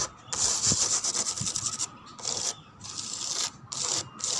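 A wooden door is tapped and scratched, producing bright, hissy scratching strokes with dry, crackly grain. The sound comes in several bursts separated by short quiet gaps.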